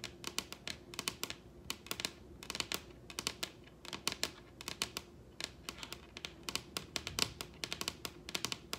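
Long red nails on both hands tap on a large solid wooden table top in quick, uneven bursts. The result is dozens of short, dry, bright clicks that die away almost instantly over a faint, steady low hum.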